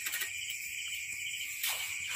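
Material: Nothing is struck.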